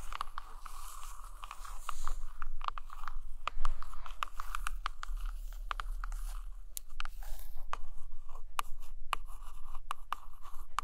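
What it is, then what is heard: Hardcover book. Long painted nails tap and scratch the glossy cover of a large hardcover photo book with a portrait on the front, resting on a blanket. Quick, crisp, dry clicks and soft scratchy rasps repeat at an uneven pace over a steady low hum.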